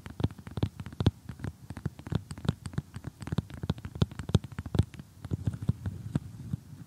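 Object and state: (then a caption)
Cardboard jigsaw puzzle. Painted fingernails tap and scratch across an assembled glossy cardboard jigsaw puzzle of thin, flat pieces. The result is a dense run of quick, dry, low clicks and taps with no ring, mixed with faint scratchy rustle.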